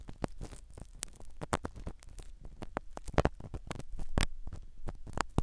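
A black spiral ear pick scratches the small black foam cover of a microphone set inside a silicone dummy ear. It makes a dense run of short, dry scratching and crackling strokes with a low, muffled rumble underneath. A few sharper scrapes stand out above the soft, close texture.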